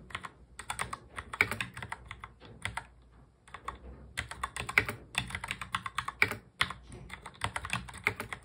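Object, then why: Plastic mechanical keyboard. Fingertips of both hands touch-type fast on a full-size black plastic mechanical keyboard. The result is a rapid stream of short, bright, clacky keystrokes that fades briefly a little past the three-second mark. The typing then picks back up at the same quick pace to the end.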